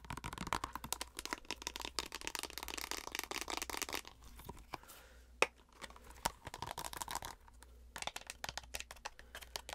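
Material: Plastic.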